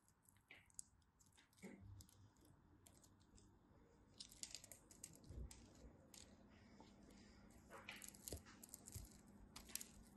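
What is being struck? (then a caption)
Solid bar of soap. A utility knife scrapes and cuts into the crosshatched surface of a solid beige bar of soap, so small cubes break off. The clip is full of quiet, crisp crunching and scraping, with bright crackly ticks and occasional soft low thumps as pieces give way.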